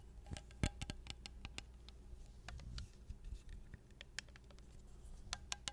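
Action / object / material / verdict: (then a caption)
tap / glass jar with metal lid / glass / none. A small, hollow, clear glass mason jar with a silver metal lid is held upside down and scratched and tapped with long nails on the glass and the lid. The result is a quiet, irregular patter of short, sharp, bright clicks with faint scratching between them over a low, steady hum.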